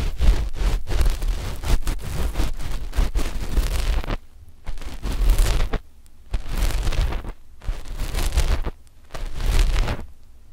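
A flat, dark knit fabric sheet stretched over microphones is scratched with the long fingernails of both index fingers. The result is a dense, rough scratching with a deep low rumble, broken into bursts by short quiet pauses after the first four seconds.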